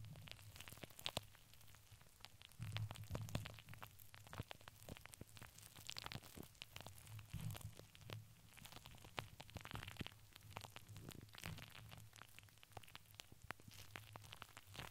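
Long nails scratch and tap across a hollow steel wire-mesh microphone dome, seen from the top. The result is a dense stream of quick, bright clicks and scrapes over a steady low hum, with a few louder taps standing out.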